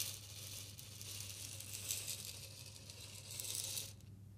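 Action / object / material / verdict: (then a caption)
shake / glass bottle partly filled with salt / glass, salt / none. A clear glass bottle with a green label, partly filled with pink salt, is tilted and shaken by hand, making a steady bright, sandy hiss of grains sliding and rattling against the glass. A faint low hum runs underneath, and the rattle stops shortly before the end, leaving a quiet tail.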